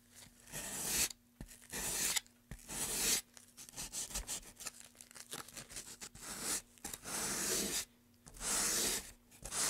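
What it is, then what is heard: Pine wooden tray being sanded. A gloved hand rubs sandpaper back and forth in the groove of a long, solid, light-wood carved pine tray. The result is bright, hissing scratch strokes in uneven bursts, with long sweeping passes broken by quick, short scrubs.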